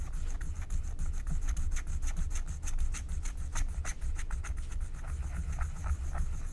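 A flat, thin, black wax-coated paper scratch-art card is scratched with a wooden stylus in short rubbing strokes that reveal the color underneath. Quick, dry scratching strokes repeat steadily over a low rumbling background, with brief bright rasps on each stroke.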